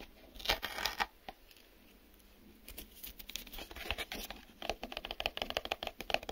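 Fingertips and nails tap and scratch the white inner flaps and sides of a small, empty, hollow printed cardboard retail box with an open end. The sound is a series of quiet, dry, bright taps and papery scratches that stop almost instantly with no ring. It begins with a few sparse taps, pauses, then builds into a faster, busier run of tapping toward the end.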